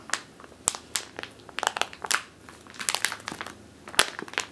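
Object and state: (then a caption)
Plastic bag full of flour. Long teal nails squeeze and scratch a medium clear plastic bag with a purple label, full of flour or grain, resting on a wooden table. The result is a quick, irregular series of sharp, bright crinkles and crackles, each snapping off almost instantly, with soft rustling in between.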